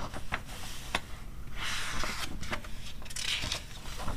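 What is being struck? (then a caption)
Glossy paper magazine pages. Long red-painted nails and fingertips rub and scratch across the thin, flexible pages of an open glossy paper animal magazine lying on a fur rug, between page turns. Short, sharp, bright scratch-ticks alternate with longer papery rustling swishes. A soft, steady low rumble runs underneath throughout.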